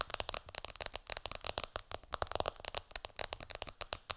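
Long dark fingernails of both hands tap rapidly on the glass screen of a black iPhone lying flat on a pillow. The result is a fast, dense stream of sharp, bright clicks that ring very briefly.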